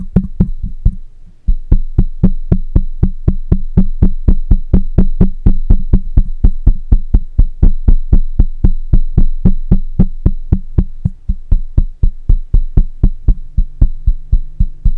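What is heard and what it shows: Fingertips and short nails of one hand tap the side of a black condenser microphone's perforated metal mesh grille, its hollow head mounted on a stand. About 60 quick, dull taps land at a steady pace of around four per second. Each tap is a deep, boomy thump with almost no ring, over a faint, steady high tone.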